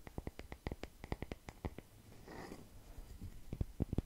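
A solid, palm-sized round slice of natural wood, with growth rings and bark, is tapped and scratched with the fingertips close to the microphone. A quick run of short, dry, low knocks is broken by a soft scratching rustle in the middle, then a few louder taps to finish. Each tap dies away almost instantly.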